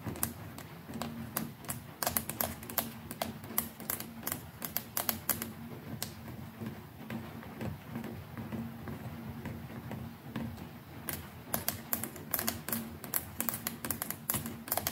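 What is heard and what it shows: Long nails tap and click on the plastic neck and collar of a white plastic electric toothbrush. The result is a steady stream of sharp, bright, dry clicks that come in irregular bursts. A low steady hum near 230 Hz runs underneath.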